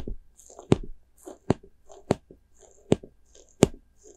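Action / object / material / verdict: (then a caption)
scrape / small soft rubber spiky toy / rubber / none. A small white soft rubber spiky ghost squishy toy is squeezed and scratched with fingers and nails. Five sharp, short taps or snaps stand out against soft crinkly, scratchy rustling and squishing between them. The hits are dry and die away almost at once.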